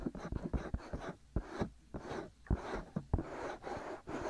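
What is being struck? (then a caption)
Silicone ears of a binaural microphone. Fingertips and short nails steadily scratch the white, soft silicone ears of a black binaural microphone. The result is close, muffled scratching and rustling, heavy in the low end, with sharp, dull thumps scattered throughout.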